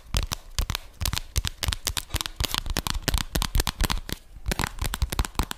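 A flat rose-gold cardboard eyeshadow palette case with embossed lettering is held in both hands and tapped and scratched with long fingernails. A rapid, uneven run of sharp, dry clicks and taps comes through, each with a bright crackle and a dull low knock, mixed with softer scratching. The taps die away almost instantly, with a brief quieter lull near the end before the tapping picks up again.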